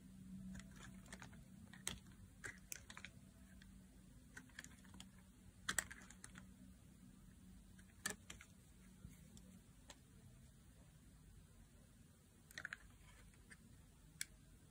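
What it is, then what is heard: Dry soap bar being carved. A thin metal blade shaves and carves thin curls from the edge of a palm-sized, solid blue bar of dry soap held in one hand, while other soaps nearby sit untouched. Soft, crisp scraping and sharp little clicks sound as each curl breaks away, spaced irregularly over a low, steady hum.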